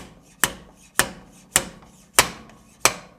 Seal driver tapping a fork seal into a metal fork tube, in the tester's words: once it gets all the way in it's going to make that that higher pitch noise and then you know that it's seated